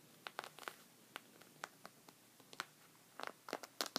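Red-painted fingernails and knuckles scratch and rub a thick, folded white woven rug resting on a table. The result is a quiet series of short, dry, bright scratching and crinkling strokes with almost no low end and no ring, bunching closer together toward the end.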